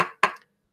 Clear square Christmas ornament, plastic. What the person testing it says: when I picked it up this sounds like plastic